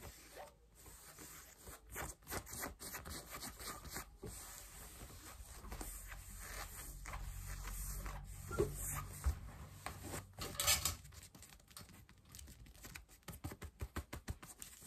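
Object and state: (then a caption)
Denim jeans scratched and tapped. Long nails tap and scratch pale yellow denim jeans over the knee and thigh, giving dry rasping fabric scrapes and soft thuds. A busier stretch of continuous scratching in the middle gives way to a quicker run of separate taps near the end.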